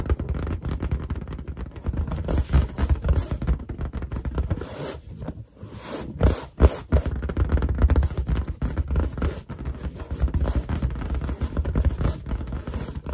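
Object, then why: Inflated latex balloon. Long, dark painted nails and finger pads tap, scratch and rub a large, hollow, inflated white latex balloon with a drawn cartoon face, using both hands throughout. Dense, quick, dull, low thumps blend with soft scraping and rubbing, with a brief quiet dip around the middle before the rapid tapping resumes.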